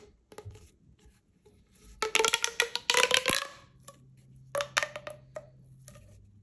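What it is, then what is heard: Plastic pop tube. A single hollow magenta corrugated plastic pop tube is squeezed by fingers with long nails into a short tube, making rapid, sharp popping clicks. A few faint clicks lead into a dense burst of bright, crackling pops. Sparser, separate pops follow as the tube settles, over a faint low hum.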